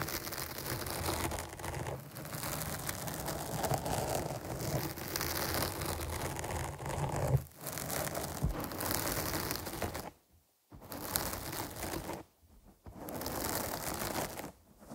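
Both hands scratch a black foam windscreen on a microphone with long nails, producing a dense, continuous scratching and rustling with a deep, boomy low end and a bright hiss on top. The scratching stops briefly at around 10 seconds, again near 12.5 seconds and at the very end, leaving short near-silent gaps.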